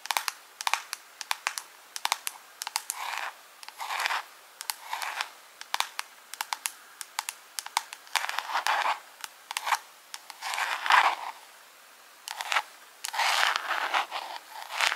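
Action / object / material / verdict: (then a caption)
tap / small clear plastic jar / plastic / none. A small, hollow, clear plastic jar decorated with rhinestones is held close and tapped and scratched with long pink acrylic nails. Sharp, dry clicks and taps come in quick irregular runs, mixed with softer bursts of scratchy, crinkling friction. The sound is light and bright, with no low end.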